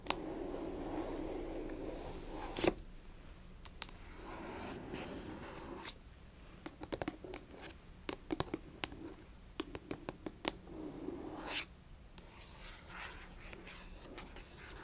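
Long nails rub and scratch the front and edges of a small, closed cardboard Fitbit Versa 3 box held upright on carpet. Soft, low-mid scraping passages alternate with quieter stretches and quick, sharp taps and clicks that carry into the highs.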